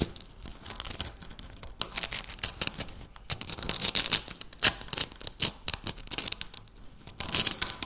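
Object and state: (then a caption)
Dry wafer biscuit being crushed. Several pieces of dry, hollow-layered wafer biscuit on a stone countertop are broken and crushed by fingertips with long natural nails. Bright, crisp crunching and tearing crackles come in dense, rapid bursts with almost no low end. Each snap dies away almost at once.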